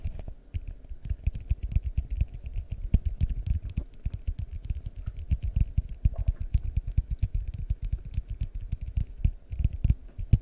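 A large, hollow, empty yellow translucent plastic bowl is held close and tapped rapidly with fingertips. It gives a steady stream of soft, deep, muffled thumps with almost no ring and a faint bright click on some taps.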